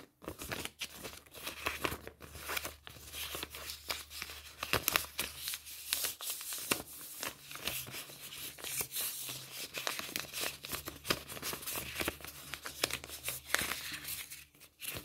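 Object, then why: Polymer plastic banknotes. A small stack of Romanian 100 lei polymer banknotes, thin plastic sheets, is handled and crinkled between fingertips and long painted nails. The result is dense, crisp, bright crinkling with many quick snapping rustles over a faint steady low hum.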